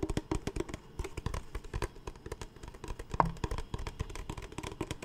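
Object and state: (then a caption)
Empty plastic water bottle. A large, empty, clear PET Smartwater bottle is tapped quickly with the fingertips of both hands. The result is a rapid, uneven run of short, dull, hollow taps, mostly low in tone and with almost no ring.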